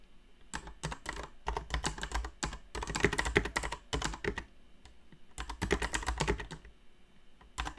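A backlit mechanical keyboard with plastic keycaps and Cherry MX Brown switches is typed on with long nails, the nail tips striking the keycaps. Uneven bursts of quick, sharp clicks and clacks come with brief pauses, each stroke short with a bright edge and a low thump underneath.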